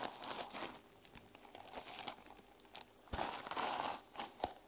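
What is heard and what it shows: A teal plastic sequin-covered journal is held in hand while long nails scratch and brush across the sequins. Dry, crinkling rustles and sharp clicky scrapes come in uneven bursts, with louder sweeping passes near the middle and end.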